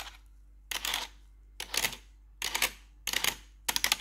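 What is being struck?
Plastic computer keyboard tapped and scratched with metal nails.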